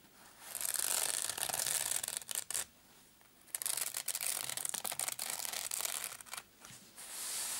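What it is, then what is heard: Nylon padded case being scratched. Short painted nails scratch and rub the fabric surface of a small black padded nylon zip case. The result is bright, hissy, rasping scratches in uneven bursts, broken by a quiet pause of nearly a second near the middle and a shorter one toward the end.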